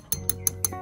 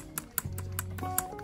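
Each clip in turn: First: Five quick, bright clinks with a thin high ring mark an aluminium reel spool, not plastic. Second: Light, dry taps on a plastic reel spool give short clicky ticks with no ring, over soft background music.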